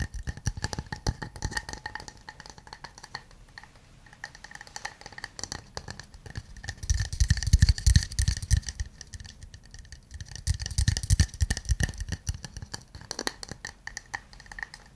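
A small, empty, hollow wooden cup or mug is held in both hands and tapped all over with fingernails and then fingertips. The result is a steady stream of quick, dry, short clicks and knocks with little ring, with a deep thumping body. The tapping swells into louder, denser bursts around the middle and again near the end.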